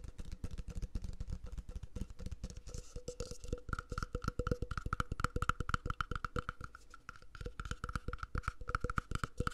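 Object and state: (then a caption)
Empty plastic cup, hollow. An empty, hollow, mint-green plastic cup held close to the mic is tapped rhythmically with fingertips on its walls and base. The fast, uneven taps sound woody and percussive, with dry low thumps and a short hollow ring around 1.3 kHz. The taps ease briefly near the end before picking up again.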